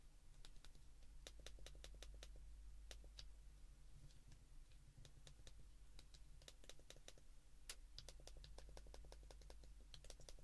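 Thumbs repeatedly press the keypad buttons of a white plastic flip phone held in both hands. Quick, bright plastic clicks come in irregular bursts over a steady low hum.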